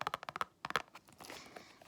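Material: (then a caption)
Hard plastic. Fingertips tap on a hard plastic RN ID badge that has a retractable extension and a clip, and is peeling at the sides. Two quick bursts of sharp, bright clicks with almost no ring are heard, followed by a soft, faint rustle as the tapping stops.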